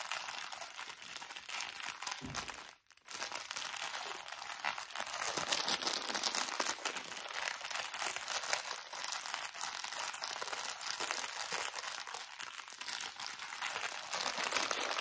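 A small, thin plastic drawstring bag full of cotton pads is crinkled and scratched with fingers and short nails. The result is a dense, continuous, bright crinkling and scratching that stays fairly steady throughout, broken only by a brief silent gap near the three-second mark.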